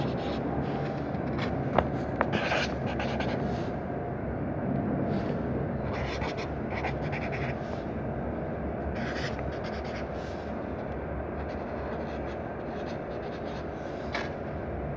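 A felt-tip marker writes "Om Gum" in pink and purple on a lined paper notebook lying open, its tip rubbing and scratching across the page in short strokes. A steady low rumble runs underneath throughout, with a few brief sharper ticks near the start.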